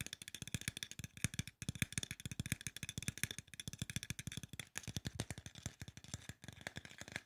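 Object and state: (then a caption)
Aluminum spray bottle tapped. A hollow silver aluminum spray bottle, held sideways, has its body tapped quickly with the fingertips. It makes a dense run of short, dry taps with a low hollow thump and a bright metallic tick. The taps barely ring and come in quick bursts with brief pauses.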